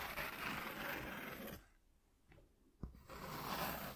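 Short nails scratch near the edges of a flat white corrugated cardboard sheet lying on a dark cloth, making a broad, dry rasping sound. The scratching stops for about a second and a half, broken only by a faint brush and one sharp tap. Then the scratching resumes.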